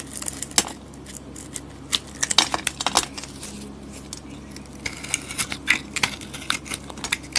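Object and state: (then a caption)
Glitter-coated soap bar being carved. A palm-sized solid soap bar with a purple glitter coating, held in hand, is shaved with a metal box-cutter blade, carving away to the white soap underneath. Crisp, bright scraping and cutting sounds come in quick, irregular bursts, each snap dying away almost at once over a faint steady background.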